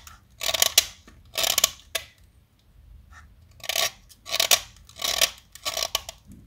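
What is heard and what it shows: A snap-off metal utility knife blade carves a small solid white chalk stick held in the fingertips, making a run of short, dry scraping and cutting strokes. Each stroke is a bright, high rasp with crisp clicking edges and almost no low end, separated by brief near-silent pauses.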